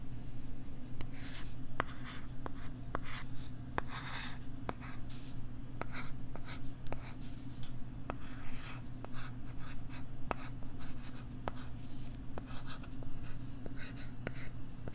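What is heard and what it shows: A flat, thin pink plastic LCD writing tablet, about A5 size, is held close to the microphone and written on with its plastic stylus. Scratchy stylus strokes rasp across the plastic screen, broken by short, sharp taps, over a steady low hum.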